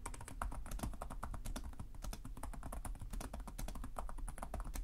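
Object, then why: Plastic laptop keyboard. Fingertips with short nails type continuously on the plastic chiclet keyboard of a black laptop resting on a desk. Rapid, short key taps run together in a steady clatter, each with a soft low thump and a bright click that dies away almost at once.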